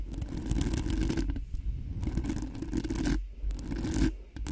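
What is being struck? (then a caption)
Metal mesh microphone grille. Long fingernails on both hands scratch and tap fast across the hollow metal mesh grille of a cream-colored Blue Yeti-style microphone. Dense, raspy scraping comes in rapid bursts separated by brief pauses, with a strong low rumble and bright, hissy edges.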